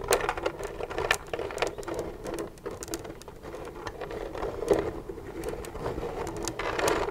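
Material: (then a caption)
Plastic. Long nails tap rapidly on the side of an empty, hollow white plastic milk jug lying on its side. The result is a dense, continuous patter of light, dry clicks over a hollow tone around 400 Hz, with occasional brighter taps and almost no ring after each one.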